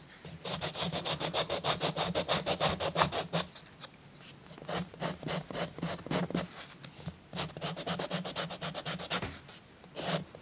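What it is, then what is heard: Chalk rubbed on a paper page. A peach-colored chalk stick is rubbed in broad, rapid back-and-forth strokes across a paper coloring book page resting on a soft cloth. It makes a bright, dry, scratchy rasp in quick rhythmic bursts, with a short pause before the strokes resume and a final burst at the end.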